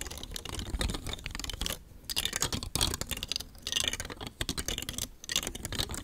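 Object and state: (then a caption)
Plastic telescoping star fidget toy. Long nails tap and scratch the edges of a palm-sized rainbow star fidget toy made of thin, hollow, nested hard plastic telescoping rings, held in one hand. The result is rapid, bright, dry clicking and scratchy rustling in dense bursts, with short pauses between them.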